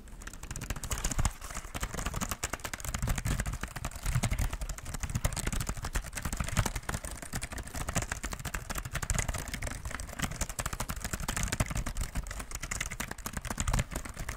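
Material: Plastic.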